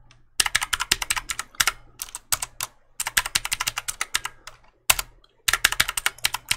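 Fingertips repeatedly press and click the keys of a black plastic mechanical keyboard held vertically beside the mic. Bursts of sharp, bright clicks come in quick runs with short pauses between them, including a near-silent gap before the final flurry. The clicks are dry with almost no low end or ring.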